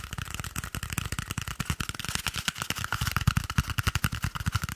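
A small, hollow, empty cardboard toilet paper tube held beside the microphone is tapped and scratched rapidly with fingertips and nails. The result is a fast, uneven stream of dry, hollow low thumps with a bright, papery scratching rasp on top. Each hit dies away almost instantly, with no ring.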